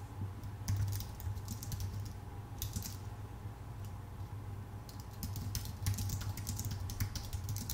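Both hands type with their fingertips on a full-size white Apple Magic Keyboard, its plastic keycaps set on a thin aluminum body. Bursts of quick, light key clicks come in clusters with short pauses, over a steady low hum near 100 Hz.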